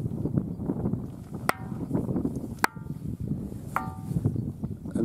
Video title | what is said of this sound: The Ringing Stone, Tiree | this is the east face being rung. And again, quite different sounds.